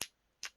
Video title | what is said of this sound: 허브올로지 크림과 오일 | 용기도 유리 용기입니다. 이렇게 유리 소리 들리나요?